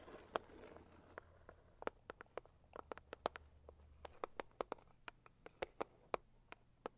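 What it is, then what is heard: Cardboard gift box. Long acrylic nails of both hands tap on the lid of a hollow, medium-sized pink floral Saviland cardboard gift box. About 27 quiet, dry, clicky taps come in an uneven rhythm, each with a hollow mid-pitched knock and a bright tick that dies away almost at once. A faint low hum runs underneath for the first part.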